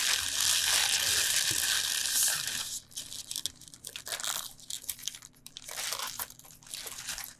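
A tied bunch of fresh lacinato kale rests on a board while both hands rub and press its crinkly leaves with the fingertips. For the first few seconds the sound is a dense, continuous, bright crinkling rustle. It then thins into quieter, scattered crackles and crunches.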